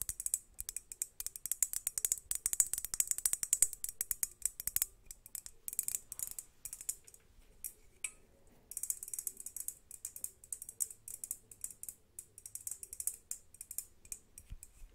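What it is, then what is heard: Crackle glass globe lamp. A large hollow crackled-glass globe lamp with fairy lights inside is held in both hands and tapped and scratched with long acrylic nails. Dozens of quick, bright, clicking taps and scratches with almost no ring come in dense runs, with a brief lull around the eight-second mark before they pick up again.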